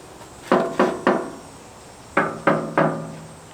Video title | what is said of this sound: Finishing Childs Play Part 4 | once they bang on it they know then it's it's metal